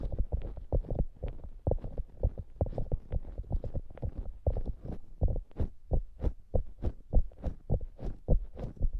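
Long nails scratch and then squeeze the top of a soft polyurethane foam squishy hamburger toy, compressing the foam. The result is a quick, steady run of muffled, low, thumping rustles with short bright scratchy flecks, each dying away almost at once.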